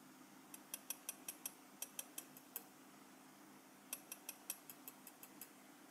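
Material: Metal.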